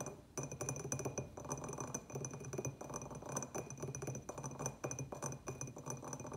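Fingernails on both hands tap rapidly over a small, empty, hollow terracotta clay pot with a white glazed rim band, striking both the glazed and the unglazed clay. The result is a dense stream of quick, clicky taps with a low hollow body tone and a faint bright ring above.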